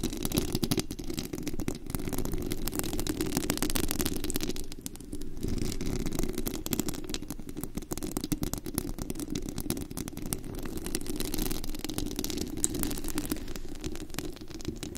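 Long acrylic nails on both hands scratch and tap the hollow, white-painted metal mesh grille of a Blue Yeti-style USB microphone at full sensitivity; it has a glitter-wrapped body and no cover on. The result is a dense, continuous, rumbling scratch heavy in low frequencies, with a thin high hiss and rapid crackling taps throughout, and a brief dip in intensity around the five-second mark.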